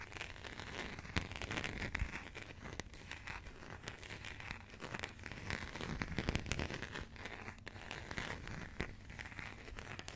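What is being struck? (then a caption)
Passport with coated cardboard cover. Long nails scratch and tap the embossed, coated cardboard cover of a burgundy passport held in the hands. A steady, close crinkly scratching runs throughout, punctuated by sharp, dry taps that die away instantly over a low background rumble.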